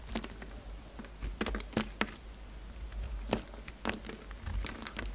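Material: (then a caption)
Soap. A utility knife blade cuts and scrapes a solid pink bar of soap, carving it as shavings pile up. Short, crisp ticks and soft scraping strokes come in irregular bursts over a quiet, steady low hum, each one dying away almost instantly.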